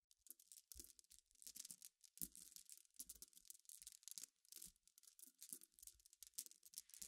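Long painted nails tap, scratch and stir through a pile of many small, clear, solid flat-backed glass gems spread on black fabric. Quiet, dense bursts of bright clicking, rattling and scratchy rustling come and go in quick irregular clusters, with very little low end.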